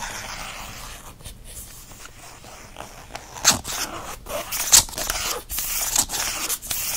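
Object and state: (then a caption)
Faux leather planner cover being scratched. Fingernails scratch quickly across the textured faux leather cover of a planner with plastic disc rings. The result is a steady, bright, hissy rasp in irregular bursts, with sharper, louder strokes standing out midway through.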